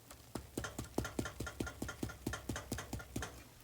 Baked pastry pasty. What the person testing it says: tap the top and get that nice hollow thumping sound